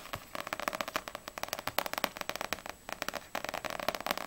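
Long nails tap quickly on the glossy paper front cover of a small, solid paperback manga, Ousama Game volume 5, with a dark cover held upright. About two dozen sharp, dry clicky taps come in rapid bursts with short pauses. Each tap is bright, with a midrange body near 590 Hz, almost no low end, and dies away almost instantly.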